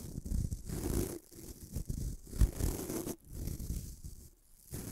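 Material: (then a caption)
Nylon bristles. Fingertips rub and flick the white nylon bristles of a small bamboo-handled toothbrush held above a metal microphone. The result is soft, scratchy rubbing and rustling in uneven bursts, heavy in low rumble with brief quiet gaps and one sharper flick near the middle.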